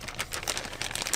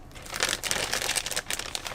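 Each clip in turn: First: acrylic brush marker with liquid paint inside. Second: acrylic marker with no audible liquid inside.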